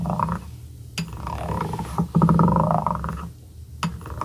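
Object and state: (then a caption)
Small wooden block. The twisted, ridged glass shaft of a dip pen is rubbed across the edge of a small, solid light-wood cube held by the fingertips. It makes a low, rasping scrape with a buzzing ratchet-like texture, broken by a few sharp, bright clicks.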